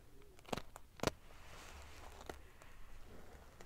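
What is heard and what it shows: Long fingernails ruffle the rows of silver metal pieces on a large padded metal-sequin fabric pillow. Two sharp, bright clicks stand out early, then softer scattered ticks over a quiet, continuous scratchy rustle.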